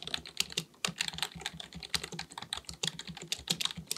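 Both hands type continuously with their fingertips on a black, full-size plastic computer keyboard resting on a desk; the keyboard is likely mechanical with a hollow body. Rapid, bright key taps clatter in an uneven stream, each short and sharp with a faint low thud beneath.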